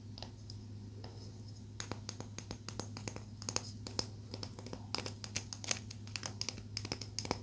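Long nails scratch and tap along the grain of a small, solid palo santo wood stick. Quick, irregular, bright clicks and dry scratches sound over a steady low hum. Each click stops almost at once, with no ring.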